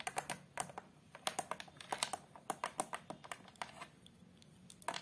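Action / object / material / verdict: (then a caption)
tap / glass-fronted photo frame / glass / none. Long pastel acrylic nails on both hands tap and scratch the glass front and patterned plastic or wood border of a large framed picture lying flat on a chair. Quick, irregular bursts of sharp, bright clicks with a tonal ring near 970 Hz die away almost instantly, with brief quiet gaps between runs.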